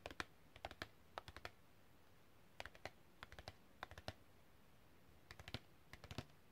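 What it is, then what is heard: Printed cardboard card. Long red-painted fingernails tap rapidly on a long, thin, flat printed cardboard packaging card with a hang hole, held on fingers wearing rings. The taps come in short bursts of three or four quick, dry clicks, each with a papery midrange snap around 1.4 kHz and almost no ring, separated by brief pauses over a low, quiet background hiss.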